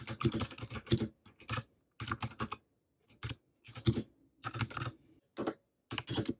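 Rapid typing on a compact white Royal Kludge mechanical keyboard with plastic keycaps and RGB backlight, resting on a desk in front of a laptop. Bursts of quick, clacky keystrokes with a low, thocky body and short, dry clicks are separated by brief pauses.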